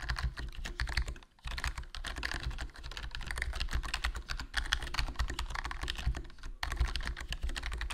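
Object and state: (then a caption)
Plastic membrane keyboard, typing. Fingertips type continuously on a HyperX Alloy Core RGB plastic membrane gaming keyboard with a foam mod, a hollow black plastic case, and black plastic keycaps. Dense, muffled keystroke clatter carries a deep low thump under brighter clicks. The typing pauses briefly just after one second and again near six and a half seconds.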